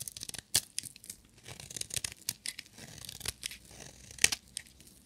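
A solid, dry bar of black and glitter striped soap is shaved with a metal utility knife blade. Many quick, dry scraping and crackling strokes are heard, mostly bright and high with little low end. Two sharp, louder cuts stand out near the start and near the end.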